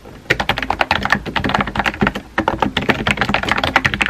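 Fingertips type on a compact pink plastic keyboard with round white keycaps, producing a rapid, steady stream of short, dry clacks. Each tap stops almost instantly, with a mid-pitched click and a bright edge. After a brief quiet start, the typing runs continuously to the end.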